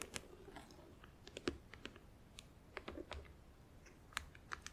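Long acrylic nails tap on the lid and sides of a closed, hollow, clear plastic compartment organizer box filled with press-on nails while it is held. The result is a scattered series of short, dry, bright plastic clicks with very little ring, over a faint low rustle.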